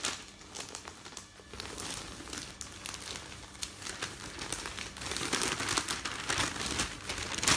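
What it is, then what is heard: Newspaper sheets rustling. Thin newsprint newspaper sheets on a bed are rubbed by fingertips, then picked up and folded, giving a steady crinkling rustle. The sound is bright and papery, with irregular crackly bursts that grow louder toward the end.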